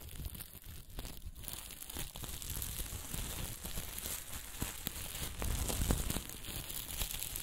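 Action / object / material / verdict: scrape / sequin fabric with plastic sequins / plastic sequins / none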